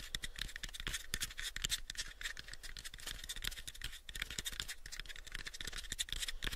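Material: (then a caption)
Wood. Fingernails scratch and tap the face of a pale, light wooden box held close to the mics and partly hidden by hands. The result is a rapid, steady run of short, dry, bright clicks and scratchy rasps that stop almost at once, over a faint constant low hum.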